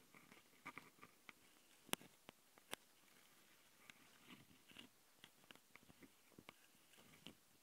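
Long painted nails from both hands scratch directly on the two X/Y microphone capsules of a Tascam handheld recorder, metal mesh grilles with red rings on a black plastic body. Close, dry scratches and sharp ticks come in irregular bursts with bright, crackly texture, a few louder taps standing out, over a faint background hiss.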